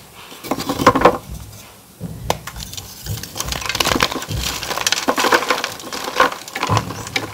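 Bare fingertips and palms crush and rub broken white and pink gym chalk (magnesium carbonate) slabs, solid, dry and powdery, in a metal tray, grinding the pieces into powder. Dry, crisp crunches and crumbling snaps come in quick bursts with gritty, scraping rubs between them, and a brief quiet lull early on. The sharp, bright crackles die away almost instantly.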